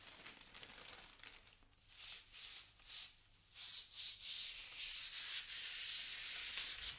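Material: Plastic.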